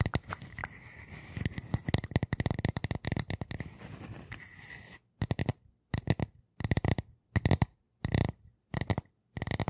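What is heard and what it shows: Long nails scratch and tap the edge and face of a flat, solid, light round wooden disc held close to the microphones. For the first five seconds the nails produce a dense run of quick, dry ticks and scratches. After that the sound breaks into short, separate bursts of tapping with silence between them, each burst a soft, low thump with a brief, bright click on top.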